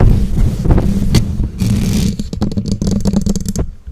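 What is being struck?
Metal mesh microphone grille.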